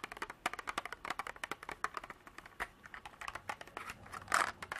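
Long black nails tap and scratch the walls and lid of a small clear hard-plastic box partly filled with small cream beads. The result is a rapid, uneven run of sharp, dry clicks with short scrapes between them, centered in the upper mids around 1.4 kHz, with little low end. A louder, fuller scratch near the end stands out.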